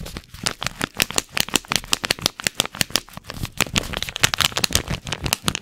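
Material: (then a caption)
Paper. A single small paper tea bag packet, with the tea bag inside, is held in the fingers and crinkled and scratched with the fingertips close to the mic. The result is a rapid, irregular stream of short, dry crackles and scratchy rustles, bright and crisp with little low end. Each snap dies away almost instantly.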